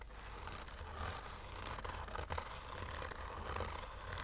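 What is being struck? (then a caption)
Fabric-covered hard sunglasses case. Short fingernails slowly scratch a black oval sunglasses case with a hollow, rigid hard shell covered in textured fabric. The result is a soft, continuous raspy scrape with a low rumbling undertone and a faint mid-range rustle, rising slightly in a few brief strokes.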